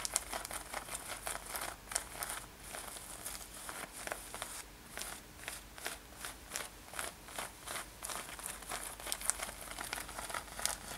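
Long nails scratch the surface of a light-blue denim corset-style top with ruffled seams, metal eyelets and a brown leather lace, worn on the body. A quick, steady run of dry, rasping strokes follows, each a short bright crinkly hiss with little low end and no ring, at a soft, even level.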